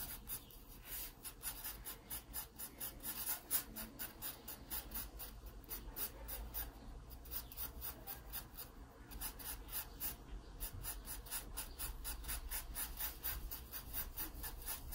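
A wooden graphite pencil held in the fingers draws short shading strokes along the edge of a pear drawing in an open sketchbook with thin paper pages lying flat. The pencil scratches the paper in a quick, uneven train of dry, bright rasping strokes over a steady low hum.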